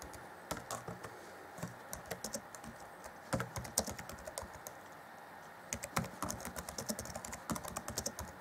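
Fingertips of both hands type rapidly on the black plastic chiclet keys of an Acer Chromebook C20 (2014) laptop, set in a grey keyboard deck. Quick bursts of light, crisp plastic clicks and bright ticks come in clusters with short pauses between them, each tap dying away almost instantly over a low, steady background hiss.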